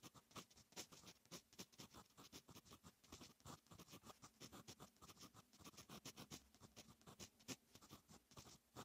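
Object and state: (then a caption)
Fountain pen writing on notebook paper. A fine metal fountain pen nib writes on a lined paper notebook page, making quiet, bright scratching strokes. The short strokes come in a steady, rapid series of crisp, dry scrapes that stop almost instantly, with little low end.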